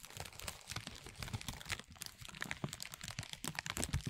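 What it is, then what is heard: Crumpled clear plastic film bag. A thin, clear plastic film bag is gathered and crumpled in both hands, giving a steady run of dense, crisp crinkling. Bright, sharp crackles come over soft low rustling thumps, and each crackle stops almost at once. The sound stays fairly quiet and continuous for the whole clip.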